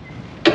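A metal part of a discarded car bumper lying in a dumpster is tapped once, giving a single sharp, bright metallic tick with a short ring around 330 Hz. Before the tap there is only faint low background noise.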